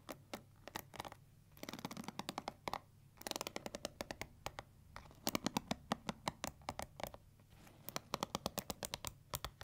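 Long nails rapidly scratch and flick the bristles of a pink plastic paddle hair brush with a black bristle pad. The result is quiet, dry, crisp ticking and scratching in quick bursts and clusters, with very short, bright clicks and no ringing.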